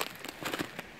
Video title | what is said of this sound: LA BALADE ! | je marche sur des petites flaques d'eau. On entend que ça craque parce que c'est gelé.